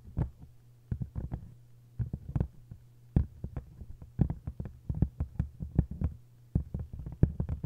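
Long nails tap and scratch on a solid hardcover book with a textured paper cover, giving rapid bursts of short, dull, low-pitched taps with brief pauses between clusters. A steady low hum runs underneath throughout.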